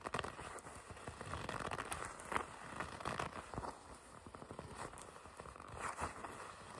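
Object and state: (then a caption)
Leather jacket sleeve. A red leather jacket sleeve with white and black stripes, held upright, is gripped and squeezed by fingertips with long red nails. The leather gives off quiet, continuous creaking and crinkling with soft crackles and scrapes, centered in the midrange with a little brightness on the sharper squeezes.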